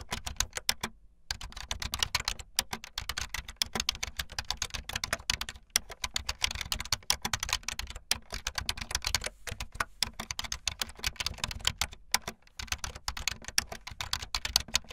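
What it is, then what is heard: Plastic membrane keyboard being typed on. Fast typing on a full-size backlit plastic Bluetooth membrane keyboard with white and blue plastic keycaps and a hollow plastic body, the keys pressed with fingertips and the tips of long painted nails. A dense, rapid stream of short, bright, high clacks and taps with almost no ring, broken by a few brief pauses.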